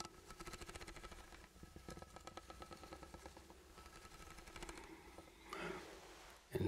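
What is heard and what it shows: A ribbed steel food can with a sealed lid, likely full, is held in the hand and tapped with the fingertips. It gives a rapid run of soft, dull taps with a faint metallic tone around 336 Hz. Near the end there is a brief louder, brighter rustle and a final firmer knock.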